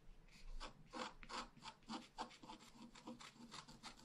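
A wooden stylus scratches flowers into the tree crown on a thin sheet of scratch art paper lying flat. It makes a quick series of short, dry, raspy scratching strokes with a bright, papery edge, each stopping almost at once.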